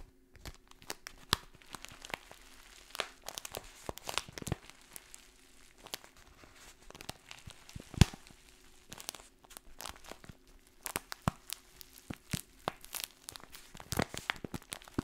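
Long painted nails scratch and crinkle a partly filled kraft paper stand-up pouch with a window showing dried contents. The result is a quiet, continuous run of dry crinkling and scratching, punctuated by short, sharp crackles. A faint, steady low hum runs underneath.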